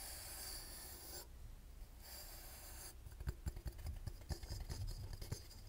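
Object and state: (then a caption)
Metal twin-bell alarm clock. A small, hollow vintage twin-bell alarm clock with a painted metal case, round cartoon face and two metal bells is held in one hand while the fingernails of the other hand scratch and tap its case and face. Two stretches of bright, hissy fingernail scratching come first, followed by twelve quick, dry, irregular taps with a low thud and almost no ring.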